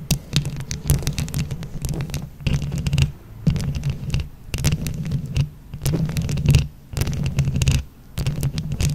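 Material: Plastic.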